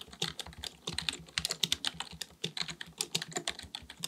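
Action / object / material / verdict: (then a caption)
tap / plastic computer keyboard / plastic / none. Both hands type continuously with the fingertips on a black full-size plastic keyboard, likely mechanical with a hollow body, resting on a desk. Rapid key taps produce a steady stream of bright, crisp clicks with very short decay and only a faint low thud beneath each stroke.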